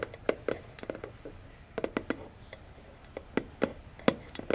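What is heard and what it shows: Long fingernails tap on top of a small, hollow, orange printed cardboard phone box lying on a table. Eighteen short, dry, hollow taps come in an uneven rhythm, each with a low-mid knock and a bright click from the nail, fading almost at once against a quiet background.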